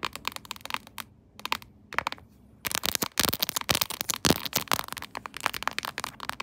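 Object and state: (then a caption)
Plastic phone case. Long acrylic nails tap and scratch the back of a smartphone in a shiny silver, chrome-finish, quilted diamond-pattern plastic case, mounted upright on a tripod holder. The hard, hollow-backed case gives rapid, dry, bright clicks and crackly scratches in dense bursts, with a brief quieter pause near the start.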